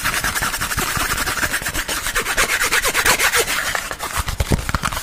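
A thin, hollow white printed cardboard sleeve about hand length, held close, is rubbed and scratched quickly with fingertips and nails. The result is a dense, continuous stream of dry, papery scraping and scratching with bright hiss and short hollow thumps throughout.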